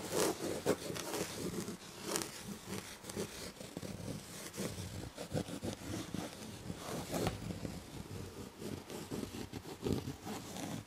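Long red fingernails scratch the textured chenille damask upholstery on a fabric-upholstered chair back, alternating with single-finger strokes. The result is a steady, dry, rustling scrape with soft bright fizz, punctuated by short louder raking bursts.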